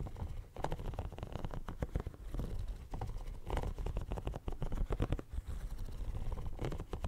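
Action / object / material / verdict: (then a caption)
scrape / silicone pencil case with raised bumps / silicone / none. Fingernails scratch and tap across a hand-sized, hollow pink silicone pencil case covered in small raised bumps, held right up to the mic. The result is a dense, continuous stream of soft, quick clicks and rubbery scratching, muffled and heavy in the low end, with brief brighter ticks that stop almost instantly.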